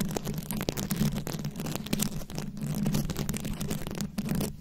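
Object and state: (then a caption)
Rhinestone-covered microphone. Long acrylic nails tap and scratch over small glued-on rhinestone beads covering a fist-sized round microphone head. The result is a dense, continuous stream of quick clicks and gritty scraping over a steady low hum.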